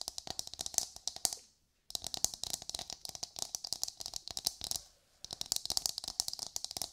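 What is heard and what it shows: A hollow, brown, fibrous coconut shell half, held in both hands, is tapped and scratched with long nails. Rapid, dry, bright clicks and scratchy taps come in quick bursts, each dying away almost instantly, with two brief silent pauses.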